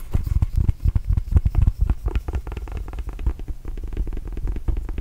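A red and blue Arizona Wildcats rubber mini basketball, hollow and inflated, is tapped with fingertips and scratched with nails close to the mic. Rapid, irregular soft thumps carry a deep, hollow low boom, with very short decay and almost no bright content.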